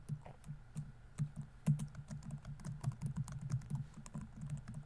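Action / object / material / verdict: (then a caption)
tap / plastic laptop keyboard keys / plastic / none. Fingertips type fast on a laptop keyboard with plastic keys, producing a quick, steady stream of soft, dull clicks and taps. The key strikes are short and low-pitched, with an occasional brighter, louder clack standing out from the patter.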